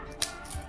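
A second sago potato chakli is broken by hand, giving a single sharp, bright snap with a very short ring, followed by faint low rustling. The chakli is well crisp.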